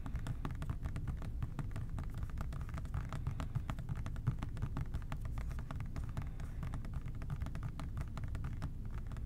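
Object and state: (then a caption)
Plastic spray bottle. Fingertips tap rapidly and softly on the labeled body of an OxiClean plastic spray bottle held in both hands. The quick, dull, short taps run in a dense, steady stream over a constant low rumble.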